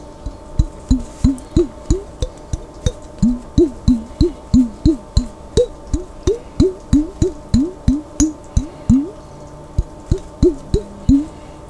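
A glass jar containing water is tapped about 30 times in a quick, uneven rhythm. Each tap gives a short, resonant, wood-block-like knock with a low body and a brief rising "bloop" of pitch that dies away quickly.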